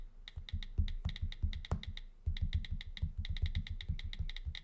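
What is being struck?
Glass tablet touchscreen.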